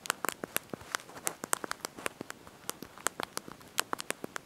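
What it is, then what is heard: Plastic phone keyboard keys. Thumbs and fingertips press and tap the small backlit plastic keys of a handheld slide-out QWERTY mobile phone keyboard while typing a message. About 26 quick, dry clicks come in an uneven, rapid rhythm, each with a bright, crisp snap centered around 1 kHz and almost no ring.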